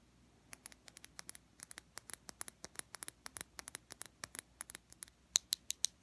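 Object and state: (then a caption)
Glass makeup bottle tapped with fingernails. A small clear glass foundation bottle, filled with beige liquid and topped with a black square cap, is held up and tapped with fingernails. The result is a quick, uneven series of sharp, bright clicks with almost no ring, growing louder toward the end.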